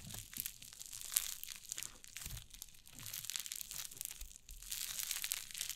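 White fluffy cloud slime on a wooden table is squeezed and pressed with fingers and long nails. It gives a steady, quiet stream of dense, bright crinkling and crackling with soft squishy pops and very little low end.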